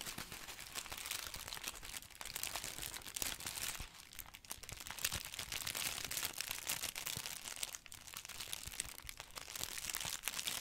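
Fingertips squeeze and crinkle a thin, hollow, light paper bag or wrapping printed with a Daily Prophet newspaper design, held up close. The result is a dense, continuous run of bright, crisp paper crackles and crunches with very little low end, briefly easing off at a couple of moments before picking back up.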